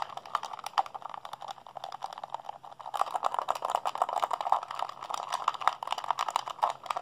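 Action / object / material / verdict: tap / plastic handheld game controller / plastic / none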